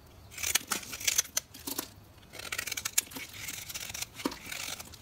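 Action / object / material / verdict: scrape / bar of soap carved with a metal knife / soap / none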